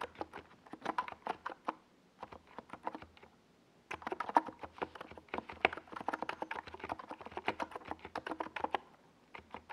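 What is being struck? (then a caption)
Plastic mechanical keyboard with SA keycaps. Fingertips of both hands type on a compact 68-key NiZ Plum Atom 68 mechanical keyboard with a white plastic case and tall purple and yellow Domikey Gas Attack SA plastic keycaps, resting on a desk pad. Dozens of quick, dry plastic clacks with very short decay come in bursts, with brief pauses just before 2 seconds and around 3.5 to 4 seconds. The clacks are mid-pitched, centered near 940 Hz, with a faint bright edge and almost no low end.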